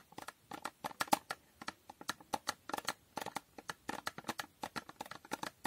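Long painted nails tap and scratch a small, hollow, empty-looking rectangular cardboard box with a holographic foil coating, held in both hands. Around 29 quick, dry clicks and scrapes come in an uneven rhythm, each with a crisp, bright edge and a papery midrange tone near 830 Hz. The box gives almost no low end or ring, and every hit dies away almost at once at a quiet level.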